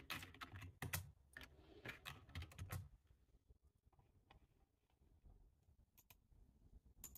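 Both hands type quickly with their fingertips on a full-size dark plastic computer keyboard. Bright, dry key clicks with soft low thuds come in dense, uneven bursts for the first three seconds, then thin out into sparser, quieter taps.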